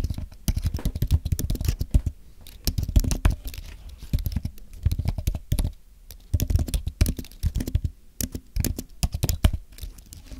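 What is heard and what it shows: Both hands type with their fingertips on a thin, solid white Apple Magic Keyboard with an aluminum base and plastic keys. The result is a rapid, uneven stream of short, dull, low-pitched taps with almost no ring and little brightness, and a few brief pauses between bursts.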